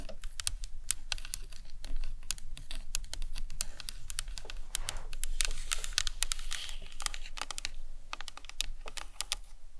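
Long nails tap and scratch the cranium and temples of a hollow plastic anatomical skull model. A steady run of quick, sharp, bright clicks with scratchy rustling comes over a low, soft rumble, each click dying away at once.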